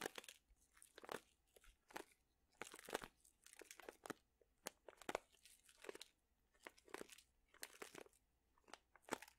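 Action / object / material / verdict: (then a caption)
shake / plastic pouch of dried chili peppers / plastic, dried chilies / none. A plastic pouch full of dried chili peppers is squeezed with both hands, so the brittle contents crunch. Quiet, dry bursts of crackling and crinkling come in irregular clusters across the clip, bright and papery with almost no low end and no ring after each squeeze.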